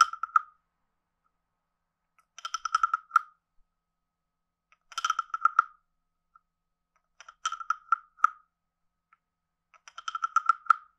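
A wooden stick scrapes the ridged back of a palm-sized, hollow, carved reddish-brown wooden frog guiro and taps near its mouth. Five short bursts of rapid, dry clicking croaks ring hollowly around 1.3 kHz with bright overtones, each separated by silence.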